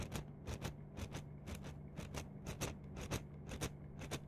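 A yellow-green plastic mesh net sleeve is bunched and stretched in both hands while long nails scratch and crinkle the mesh close to the mics. Quick, bright scratching bursts repeat at a steady pace of about two per second over a low, steady hum, with the strokes clearly separated in loudness throughout the clip.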